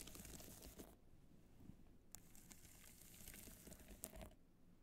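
Long nails scratch and tap across the multicolored rhinestones of a small black hollow hard-shell evening clutch, moving near its clasp. Soft crinkly, gritty scratching is broken by sharp bright clicks that stop dead with no ring.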